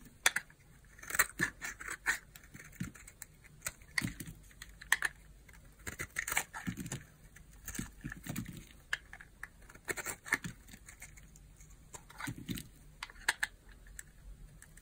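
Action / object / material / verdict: scrape / hard bar soap cut with a knife blade / soap / none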